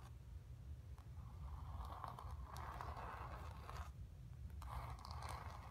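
Long nails scratch across the surface and lower edge of a painted, stretched canvas. The result is a series of dry, raspy scraping strokes with a papery midrange texture and faint bright ticks, layered over a steady low rumble.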